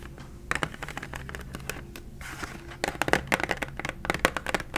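Long acrylic nails tap and scratch across the clear plastic blister of a hand-sized Expo 8-marker retail pack, full of markers and backed with cardboard. Crisp, bright, short clicks come in irregular bursts, with a soft scratchy rustle in the middle. A faster, louder run of taps follows toward the end.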